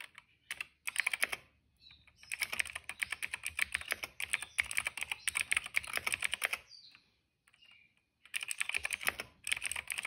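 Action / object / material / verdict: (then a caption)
tap / plastic mechanical keyboard / plastic / none. Fingertips of both hands type on a retro-style cream plastic mechanical keyboard with black and purple keycaps. Bursts of bright, clicky keystrokes come in quick runs, with short pauses between them and a faint high chirp in the gaps. Each click is crisp and dry, with almost no ring.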